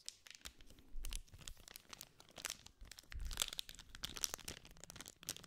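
A small green cardboard sweets pack wrapped in clear plastic film is held in the hand while fingertips and nails scratch and crinkle the wrapper. The result is a dense run of sharp, bright crackles and crisp rustling, with softer low handling thumps underneath.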